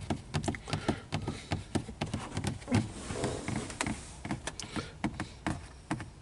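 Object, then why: Molded plastic car dashboard. Fingertips and short nails tap, rub and scratch across the large, textured, dark plastic top of a car dashboard above the air vents, a hollow molded panel. Many quick, dry taps and clicks with a hollow, low body sound are heard, separated by brief scratchy rubbing strokes.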